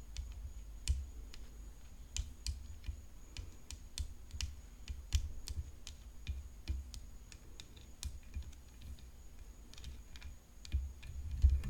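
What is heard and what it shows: Long fingernails tap continuously on a tennis racket, making a steady stream of short, sharp, bright clicks at an uneven pace, each dying away almost instantly. A low, quiet rumble and a faint steady high whine run underneath throughout.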